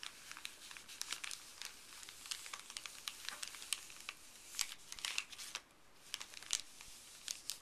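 Fuzzy gloved fingers rub and crinkle a flat, thin, empty printed white paper pharmacy bag resting on a wooden table. Quiet, dry crinkling and rustling come in quick, irregular bursts, bright and hissy, with almost no low end and no ring after each crackle.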